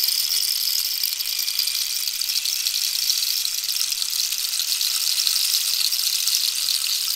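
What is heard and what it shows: A hollow cactus wood rainstick with a red-yellow-green band at the end is tilted so its inner pellets cascade while long nails tap its surface. The result is a steady, bright hiss of fine pattering that runs unbroken for the whole clip, with no low end and no separate hits standing out.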